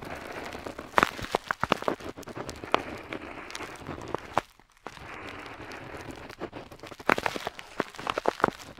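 A metal dip pen nib scratches across a flat paper map sheet while drawing a wavy coastline. It makes a steady, dry scratching hiss dotted with sharp clicks and ticks, with a brief pause about halfway through before the scratching resumes.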